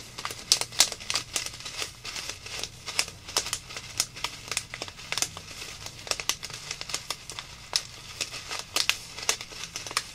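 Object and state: Plastic zip bag of foam beads.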